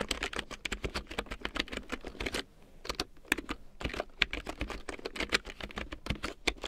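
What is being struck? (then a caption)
Plastic computer keyboard. A full-size large print keyboard with a black plastic frame and big yellow plastic keycaps, lying on faux fur, is typed on with long painted nails and fingertips. Rapid, bright, clicky plastic taps come in dense bursts with a brief pause near the middle. Each tap is short and dry with almost no ring.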